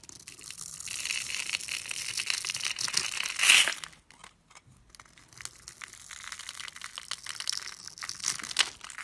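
A solid light-green bar of soap held in the hand is carved and scraped with a blade, and crumbly bits fall away. Bright, dry scraping and crunching fills the first half, peaking in a sharp burst before a brief near-silent pause. Lighter, crackly scraping then resumes until the end.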